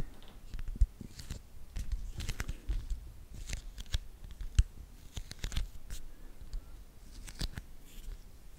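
Long nails and fingertips scratch and tap the glossy cover of a small, solid children's board book of thick laminated cardboard, a Winnie the Pooh "L'albero del miele," held close to the microphone. Irregular dry scrapes and short crisp taps crackle brightly over a low, soft rumble, with a couple of sharper knocks standing out. Each sound stops almost instantly with no ring.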